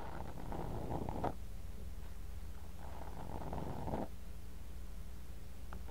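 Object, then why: Kinetic sand in a glass cup. A thin bamboo ear pick repeatedly digs and scrapes kinetic sand in a clear glass cup, right next to a mini mic buried in the sand. Two muffled, gritty scraping passes rise and stop over a steady low rumble, with almost nothing in the high range.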